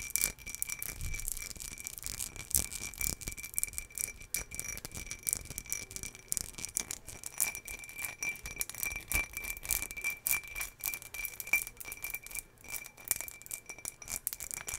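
An empty, hollow ribbed green glass jar is held close to a microphone and scratched along its ribs with long fingernails. The result is a dense, fast, bright scratching and rattling, mostly in the high frequencies, with a faint steady high ring running underneath.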